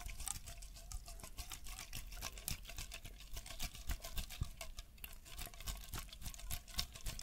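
A hollow green aluminium aerosol spray can, likely hairspray, is held horizontally in both hands while fingertips and nails tap and scratch along its body. A fast, irregular patter of light, dry clicks and scratchy bright crackles carries over a low hum. A faint metallic ring sits around 700 Hz.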